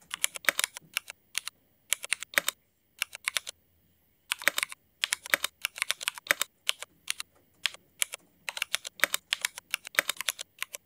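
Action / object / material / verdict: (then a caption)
tap / mechanical keyboard, ABS plastic keycaps / ABS plastic / none. Fingertip typing with both hands on a mechanical keyboard with black Cherry MX ABS plastic keycaps. It makes quick, bright, clacky keystrokes in bursts, with very short decay and brief pauses, the longest near the middle.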